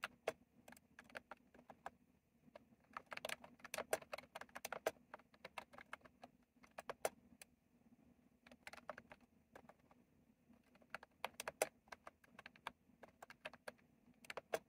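Fingertips type on a retro plastic mechanical keyboard with round plastic keycaps. The result is quiet, sharp, bright clicks that stop almost instantly, coming in quick bursts separated by brief pauses.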